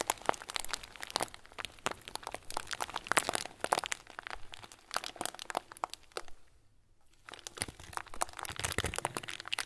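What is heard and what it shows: A hand-sized clear plastic bag full of small white plastic pearls is crinkled between the fingers. It makes a dense run of bright, sharp crackles and crunches, with the beads shifting inside. The crinkling pauses briefly near the end, then resumes.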